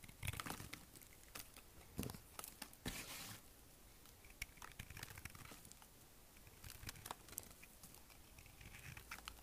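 The blade of a small kitchen knife shaves and scrapes thin chips off a solid, dry, hard green bar of soap held in the hand, leaving a pile of shavings on the table. Quiet, crisp, bright scraping and crunching bursts come in an uneven run, with a longer rasping scrape near the three-second mark.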